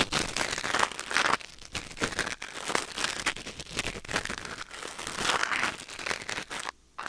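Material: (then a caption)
Silicone. A thin wooden or bamboo ear pick, held in the fingers, scratches and scrapes inside the ear canal of a white silicone ear mounted on a black binaural microphone. The result is a close, dense stream of dry, crinkly crackling and scraping with a bright, hissy edge and little low end. The scraping comes in uneven bursts and briefly drops to near silence just before the end.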